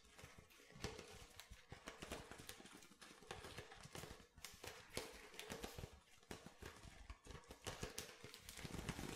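Fingernails rapidly tap the ridged bottom of an empty clear plastic water bottle with a blue label and cap. The sound is a dense, irregular run of light, crisp clicks with a hollow plastic ring. Each tap fades quickly.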